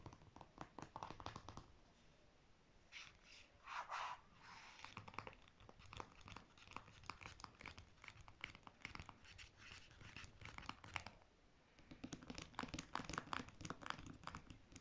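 Fingernails tap and scratch a single purple John Frieda conditioner squeeze tube made of soft plastic, apparently filled, on its body and its clear plastic cap end while it is held or lies on fabric. Quiet, rapid clicky taps alternate with scratchy, crinkly rubbing, with busier bursts of tapping toward the end.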